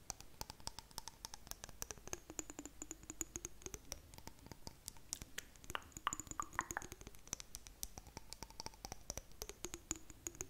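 Long nails tap rapidly and steadily on a small clear glass jar with blue contents held close to the microphone. Each tap is a short, bright click that dies almost instantly, over faint ringing glassy tones. The tapping stays quiet and continuous throughout.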